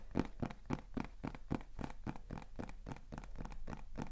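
A small, hollow beige kraft cardboard box with a white label is held up and tapped and scratched with fingertips and nails. The result is a rapid, somewhat uneven run of dull, hollow taps mixed with dry scratching, each hit short and low-weighted.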